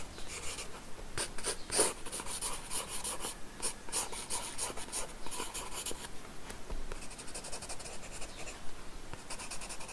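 A wooden graphite pencil scratches and rubs lines across the paper of an open sketchbook resting on a wooden table. Irregular, dry strokes make a bright, papery hiss, with quick scratches and longer rubbing passes following each other throughout.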